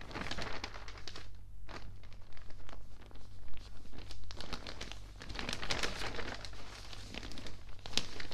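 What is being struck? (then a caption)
Newsprint newspaper pages. Fingertips rub and turn the pages of an open, water-damaged newspaper of thin newsprint. A dense run of crinkling, crackling rustles and soft papery bursts plays over a steady low hum.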